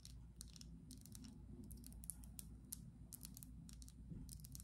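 Long acrylic nails tap quickly and irregularly on a small, partly filled clear glass perfume bottle with a black cap. The taps come as short, bright clicks with almost no ring, heard over a steady low hum.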